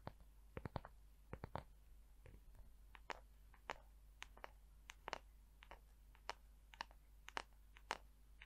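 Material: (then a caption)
Wood. Long acrylic nails tap and scratch the smooth, curved back of a palm-sized, hollow-looking light wooden paddle hair brush held close up. Sharp, dry clicks arrive in quick clusters and single taps over a steady low hum, with faint scratching between them and no ring after each hit.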